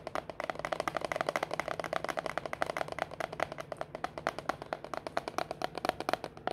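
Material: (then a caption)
Plastic. A small, clear, rectangular plastic food container with a lid, full of seashells and aluminum coffee capsules, is held up in both hands and tapped fast on its sides with long manicured fingernails. Some four dozen quick, crisp, hollow clicks with a plastic tone centered near 700 Hz come in an even, rapid stream. Each dies almost instantly, with a faint low hum underneath.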